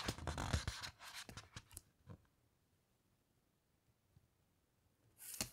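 Long-nailed fingertips slide over the glossy paper pages of a large open hardcover coffee table photo book resting on a carpet, then turn a page. Dense, bright rustling and scratchy paper sounds fill the first two seconds, thin into a few soft taps, and fall into near silence. A short, bright swish of paper comes at the end.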